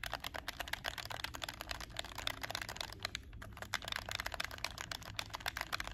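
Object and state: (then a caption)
Plastic game controller buttons clicking. A hollow black plastic PS4 game controller is held in both hands while fingertips with short nails click its triggers and shoulder buttons. The result is a rapid, steady stream of sharp, bright plastic clicks that die away almost instantly, with little low end.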